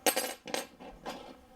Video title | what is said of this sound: Как заменить подложку и струны на гитаре - Ремонт акустической и электрогитары своими руками. | il est moitié métal, moitié plastique. Entendez le son métallique